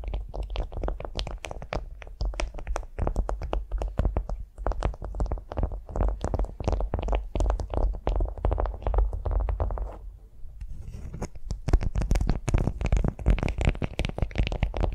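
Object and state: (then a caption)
Beeswax-coated cotton food wrap. Long nails scratch and tap a flat beeswax-coated cotton food wrap lying on a vinyl mat, making a dense run of quick, crinkly taps and scrapes with a heavy low thump under each. The tapping eases into a quieter, softer stretch near the ten-second mark before picking back up with brighter, crisper crackles.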